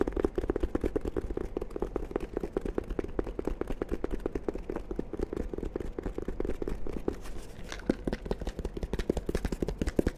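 A small black hard-shell carrying case, fabric-covered, zippered, hollow and closed, is held in both hands and tapped and scratched with the fingertips and short nails. Quick, dry, closely spaced taps with almost no ring run steadily through the clip over a hollow low-mid body and a faint scratchy texture.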